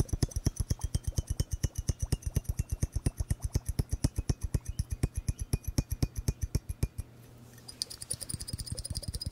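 A glass bubble hourglass is tapped in a fast, steady run of short, dull taps, each a low thump with a faint bright click on top. After about seven seconds the tapping briefly stops, then resumes as quicker, softer, brighter clicks.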